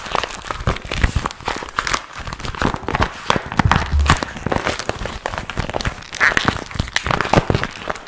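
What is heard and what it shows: A small, empty, glossy pink patent vinyl pouch with a zipper is held in both hands while fingertips crumple and rub it. A dense, continuous crinkling and rustling runs throughout, broken by sharp crackling snaps and soft low thumps from the handling.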